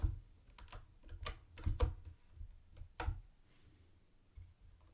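Fingertips type on a mint-green plastic typewriter-style keyboard with round white plastic keycaps and a hollow body. The clicks come irregularly, short and sharp, with a low hollow thump under each one. Seven distinct key strikes stand out over about five seconds.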